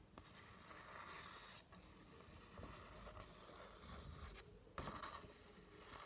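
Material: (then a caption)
Paper. A black pencil tip scratches and traces along a single thin sheet of white lined notebook paper with a drawn heart on it, held up by hand. A continuous soft, grainy scraping with rustly bright texture continues throughout, with a slightly sharper scratch near the end.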